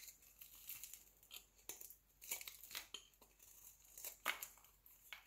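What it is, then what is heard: Bar soap shaved with a blade. A solid round green bar of soap, held in the palm, is shaved into curls with a utility knife blade. The result is a quick series of soft, bright, crinkly scraping strokes with almost no low end, each one ending crisply with no ring.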